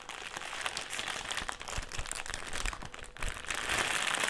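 A black, foil-lined metallised plastic crisp packet is held in the hands and crumpled and folded. It makes a steady, dense run of bright, crackly crinkles with brief louder crunches, building toward the end.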